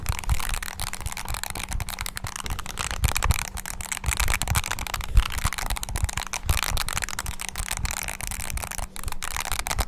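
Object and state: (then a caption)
Plastic mini keyboard keys being pressed. Fingertips press the keys of a small black handheld plastic mini wireless keyboard quickly, its hollow body giving each press a dull thump under a bright click. The presses run together into a dense, steady clatter for the whole clip, over a faint low hum.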